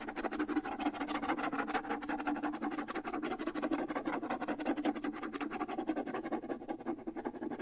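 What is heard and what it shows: Fingernails rapidly scratch the skin head of a small, hollow wood-and-skin bongo drum held up close. The result is a dense, steady rasp of quick, dry strokes with a hollow midrange tone and almost no low end. The brightness thins slightly toward the end.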